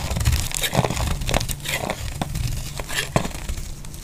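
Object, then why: Soap bar shaved with a metal blade. A metal blade shaves flakes off the surface of a solid, oval, dry pink-red soap bar held in the hand. A steady run of dry, crumbly scraping and crinkling strokes comes through, with brief brighter crunches over a full low body.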